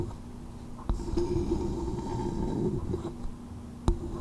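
A small, hollow, empty coconut shell bowl held over the microphone is tapped with long nails and cupped with fingertips. Four short, sharp clicks stand out over a low, muffled, hollow rumble that swells as the fingertips cover the shell, with a faint steady resonant tone running beneath.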